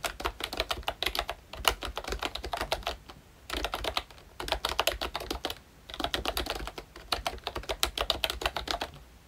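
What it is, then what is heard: Plastic membrane keyboard. Rapid, continuous typing on a ROYCHE Disney Mickey Mouse full-size retro membrane keyboard with round plastic keycaps, pressed with the fingertips of both hands. Soft, bright plastic clacks tap out in quick, dense bursts, with brief pauses between three stretches of typing. Each press is short and dry with almost no ring.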